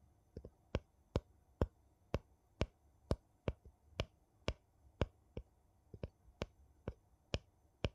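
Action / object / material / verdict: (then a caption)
tap / metal jar lid on a glass jar / metal / none. The edge of a gold metal lid on a small glass jar, held sideways, is tapped and clicked with a thin wooden piece. A steady series of sharp, dry clicks sounds at a roughly even pace over a quiet background, each one very short with almost no ring. Some clicks come in quick doubled pairs.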